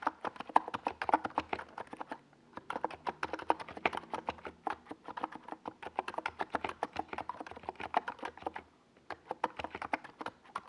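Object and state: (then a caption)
Plastic mechanical keyboard typing. A NiZ Plum Atom 68, a small 68-key mechanical keyboard with a white plastic case and purple and yellow Domikey Gas Attack SA plastic keycaps, sits on a desk pad while fingertips type on it continuously. The result is a rapid stream of short, crisp plastic clacks centered in the mid range with a faint low thock under them. Typing pauses briefly around 2 and 9 seconds before resuming.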